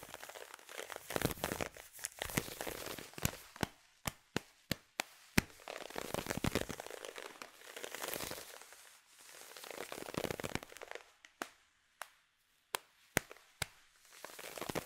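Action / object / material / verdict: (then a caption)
scrape / nylon fishnet tights / nylon / none. Long nails scratch and rub along the thigh and shin over black nylon fishnet tights worn on the legs. Close, dry scratching and crinkly rubbing rise and fall in waves, broken by sharp, short clicks and snaps with bright, hissy texture.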